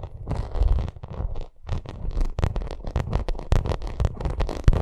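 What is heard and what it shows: Long nails scratch and tap across a bumpy vinyl makeup bag. Rough, crackling scratches come in quick bursts with soft taps mixed in, carrying a deep, rumbly low end and brief bright edges. There is no speech.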